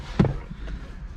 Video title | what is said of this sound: 2022 Hyundai Kona Electric – Live Drive! | The doors feel really solid too when you shut them. Yeah, it sounds solid.